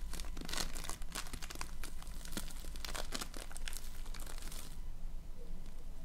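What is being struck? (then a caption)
Polystyrene foam beads in slime. A soft, fist-sized lump of floam (multicolored polystyrene foam beads stuck together in slime) is squeezed and kneaded with fingertips and painted nails. It gives dense, bright crinkling and crunchy crackles over a steady low hum. The crackling stops near the end, leaving only the hum.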